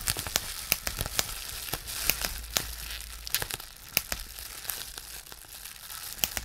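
A large clear plastic bubble wrap sheet on a dark surface is gathered and pinched with fingers to pop its bubbles. Sharp, bright pops ring out irregularly over a steady crinkling, hissy rustle of the plastic. Each pop is brief and dies away almost instantly.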